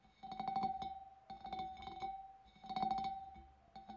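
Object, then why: Glass fish bowl. Long nails tap the wavy rim of a large, empty, clear glass fish bowl, sending out quick bursts of light clicks in clusters. Each tap rings briefly at a steady pitch near 777 Hz with a faint bright shimmer above it.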